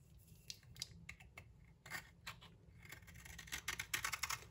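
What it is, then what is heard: Soap bar being scraped. A utility knife blade scrapes across the surface of a solid green bar of soap held in hand, flaking off chips. Soft, bright, dry scraping strokes come in an irregular series and grow quicker and crisper toward the end.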